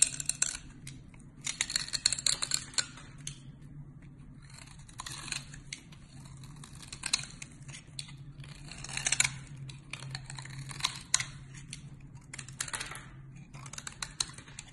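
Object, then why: Solid soap bar scraped by a blade. A box-cutter blade repeatedly scratches and shaves crumbly flakes from the corner of a solid cream-colored bar of soap. Crisp, bright scraping bursts come in irregular clusters, separated by quieter stretches, over a faint steady low hum.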